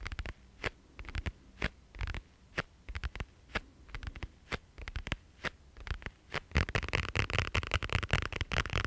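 Fingernails tap and scratch the surface of a flat, iridescent holographic plastic pouch held in both hands. Sharp, crisp taps fall in a loose, spaced rhythm over a low hum. In the last few seconds they give way to a denser, louder burst of rapid scratching with a bright, crinkly edge.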